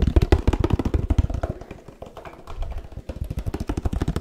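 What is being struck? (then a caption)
Laminated paperboard drink carton. A 1 L laminated paperboard oat milk carton is tapped with the fingertips close to the microphone. Rapid, loosely irregular taps give dull, deep thuds that die away almost at once, with little high or bright content. The tapping softens briefly midway before picking back up.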